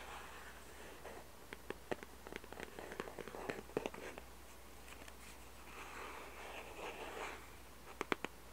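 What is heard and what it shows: Fingertips and nails scratch and tap the white underside of a small hollow cardboard jigsaw puzzle box. Soft, papery scratching swells rise at the start and again around six to seven seconds. Between them come scattered sharp, dry taps that stop almost instantly, with a final quick cluster of taps near the end over a faint steady low hum.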